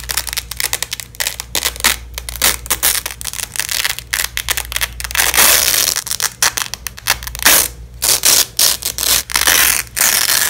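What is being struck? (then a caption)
Nylon hook-and-loop fabric strap. A long, flexible yellow and black nylon hook-and-loop strap lies on a bedsheet while black-gloved hands pull and peel it apart. Repeated crunchy, bright ripping bursts come in quick succession, with short pauses between rips.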